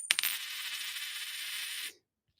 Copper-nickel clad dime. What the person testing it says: does that sound flat? That's real easy to decipher, right?